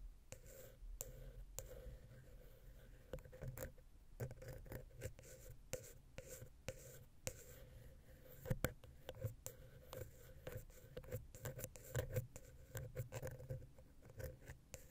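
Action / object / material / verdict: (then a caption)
scrape / metal microphone capsule scratched with a wooden pick / metal / none. A wooden ear pick, held vertically, scratches and taps the silver metal X/Y microphone capsule on a Zoom H6, a small, hollow capsule. The result is close, soft scratching broken by many short, dry taps and clicks over a low hum, with a steady tone near 500 Hz.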